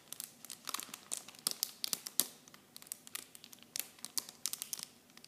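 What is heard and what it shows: Clear plastic blister and bag packaging around small, light, hollow blue Nivea shampoo bottles is held in both hands and squeezed and crinkled with fingertips and long blue-painted nails. The sound is a quiet run of sharp, bright crackles and crinkles in uneven bursts. Each crackle snaps off almost instantly, with hardly any low end.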